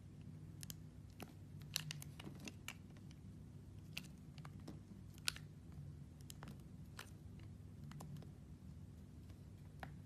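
A metal blade slices and shaves thin sheets off a purple, translucent, heart-shaped bar of solid glycerin soap held in the hand. Quiet, crisp, bright cutting clicks and short scrapes arrive at irregular intervals over a steady low hum, with a few sharper snaps standing out.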